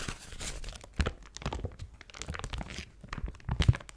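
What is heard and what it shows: A thin yellow-gold foil paper sheet is held in both hands and crinkled, stretched and crumpled with fingers and long nails. Quiet, irregular bursts of crisp crinkling and crunching rustle over dull low thumps as the sheet is handled, with a stronger thud near the end.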